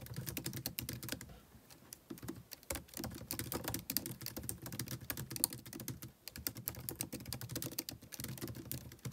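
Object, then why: Plastic laptop keyboard. Fingertips type rapid key presses on a white plastic MacBook keyboard, producing a dense stream of short, crisp clicks with bright tops and a soft low thud beneath each. The typing runs steadily, easing briefly near 2 seconds and again near 6 seconds before continuing.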